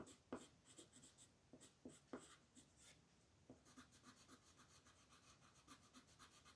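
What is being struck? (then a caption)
Colored pencil on paper sheet. A purple colored pencil, held by a hand with long painted nails, rubs and scratches across a flat white paper sheet printed with a mandala that lies on a table. Several sharper scratch strokes stand out early on, then settle into quiet, steady, rhythmic scratching with a bright, airy hiss.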